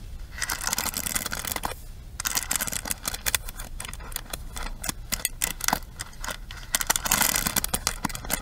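Long nails scratch and rake across the ball-tipped bristle pins and frame of a pink plastic paddle hairbrush. The result is a dense, bright, crackly scraping full of quick clicking ticks, with a brief quieter pause near the two-second mark before the raking picks up again.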